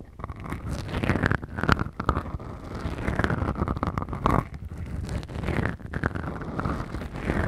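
Long fingernails on both hands scratch two small black foam windscreens on a Tascam recorder. The result is a dense, continuous, muffled scratching and rustling, heavy in low rumble, that swells and fades in slow waves with little high-end brightness.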